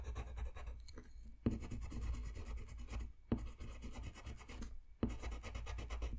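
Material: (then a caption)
Paper. Short strokes of a yellow wooden colored pencil rub and scratch across a thin white paper coloring sheet lying flat on a white desk. The quiet, grainy scratching comes in steady bursts, broken by brief pauses that end in sharper strokes, with a low rumble underneath.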